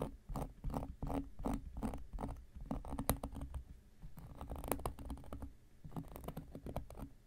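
A round, flat, solid cork coaster is scratched and scraped with an X-Acto knife blade. Quiet, dry, rapid scratching strokes come in uneven bursts with no ring, leaving a soft, low-heavy rasp.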